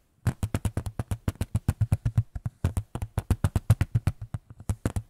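A small white photo frame is tapped about 34 times in quick, uneven succession over five seconds. Each tap is a short, dry knock with a low thump and no ring.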